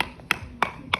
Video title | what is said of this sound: Understanding Substrates in Older Homes – Lime Mortar Series Bonus Episode | relatively sound, good enough for when I put a liner on top